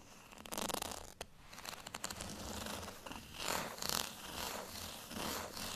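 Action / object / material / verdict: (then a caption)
scrape / plastic rice paddle with textured surface / plastic / none. Fingernails scratch across the bumps of a small, solid beige plastic rice paddle with a textured surface. The result is a run of dry, raspy, zipper-like scratching bursts with a bright, hissy top end and little low weight, rising and falling in loudness as the strokes repeat.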